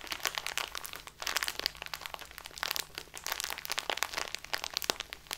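A small plastic bag full of loose tea, lying on a table, is squeezed and rubbed with the fingertips and nails of both hands. It makes dense, bright crinkling and crackling with sharp, dry snaps that die away instantly. There is a brief lull just after the first second before the crinkling resumes.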